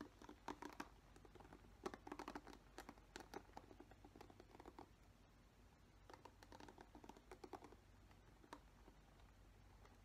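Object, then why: Plastic paddle hairbrush with plastic bristles. Long nails tap and scratch the plastic bristles of a black plastic paddle hairbrush held close by, making quiet, dry clicking and crackling bursts in uneven clusters. Each tick stops almost at once, over a faint steady low hum.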